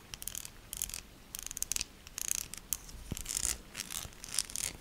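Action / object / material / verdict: scrape / bar of soap / soap / none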